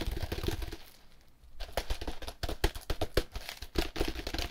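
Gloved fingers scratch and tap the sides of a cube-shaped compressed hay block wrapped in plastic film, held up in the air. Quick, dry crinkling scratches and taps with a low, dull thump come in dense bursts. There is a brief quiet pause near the one-second mark before the fast tapping resumes.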